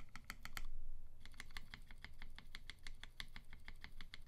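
A tenkeyless UTD 360C mechanical keyboard in a gummy-worm mount, with a silver aluminum case, white PBT keycaps and Vintage Black switches lubed with 205g0 and filmed, is typed on one key at a time with a fingertip, including the large right-side keys and the spacebar area. A quick run of sharp, bright clacks is followed by a brief pause and then a steadier, irregular stream of key presses over a low background rumble.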